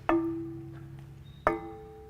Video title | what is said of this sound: Preflight Inspection AA5 Series | if you do this and don't hear that nice ringing you may have a crack somewhere in the prop